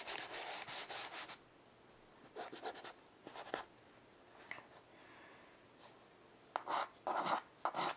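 White chalk held in the fingers scratches and rubs across a flat wooden-framed chalkboard lying on carpet while drawing and smudging. Bursts of dry, bright, broadband scratching come in irregular clusters with quiet pauses between, loudest at the start and end.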